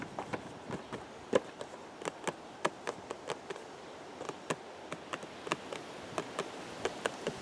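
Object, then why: Cardboard box. Fingertips tap the narrow side of a hollow purple cardboard teacake box, making 24 short, dry taps at an uneven pace. Each tap is a light, papery knock centred around 490 Hz with a bright edge, dying away almost instantly. A soft, steady hiss runs underneath.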